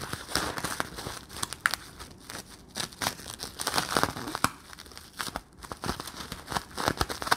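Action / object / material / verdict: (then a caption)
scrape / thin sticky plastic bubble film / plastic / none. Fingertips and nails squeeze and crinkle a palm-sized, empty, clear, hollow, sticky plastic Bloonies bubble. The result is dense, rapid crinkling and crackling with sharp, dry clicks and faint tearing, sticky peeling sounds. It is bright and mid-focused around 1.5 kHz, with very little low end and almost no ring after each snap.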